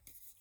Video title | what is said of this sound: Tuto Action Joe ré-élastiquage réparation | Faut qu'il sonne creux quoi.